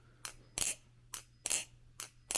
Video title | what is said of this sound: "When should I oil my Balisong?" | Do you hear how low that sounds? It doesn't have that high, sharp sound.